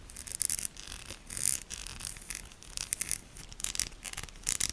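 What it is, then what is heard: Bar of soap scratched with nails. A solid pink Shik soap bar with a ribbed, embossed surface is held in one hand and scratched with long manicured nails. The result is a quiet series of dry, bright, raspy scratches in short bursts with brief pauses between them.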